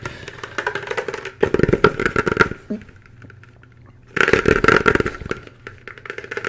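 Fingertips and nails of both hands tap and scratch the shell of a white hollow plastic hard hat worn on the head. Rapid, irregular, dry clicks and scratches with a hollow knock come in two loud flurries, separated by a near-silent pause, and then trail off into softer tapping.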